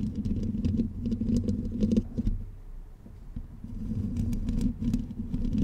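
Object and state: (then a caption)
Metal mesh microphone grille scratched and tapped. Long pink nails on both hands scratch and tap the hollow black metal mesh head of a blue condenser microphone. The result is a dense, irregular patter of scraping and tapping over a low, rumbling boom, with sharp bright clicks. It eases into a quieter stretch midway, then builds back up.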